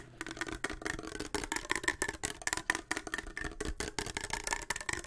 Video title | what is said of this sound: Melatonin Can't, But a Tin Can - Tin Can ASMR (Tapping/Sloshing/Whispering) | wherever the water is and when it moves if you tap on it the pitch does change